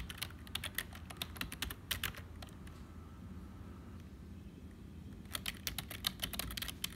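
Fingertips of both hands type on a black HP full-size plastic keyboard with a hollow build. Bright, sharp key clicks come in quick bursts for the first two and a half seconds. After a quiet stretch of low background hum, the clicks resume near the end.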